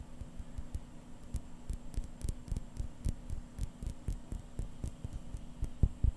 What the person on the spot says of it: it's actually a really dense crystal sound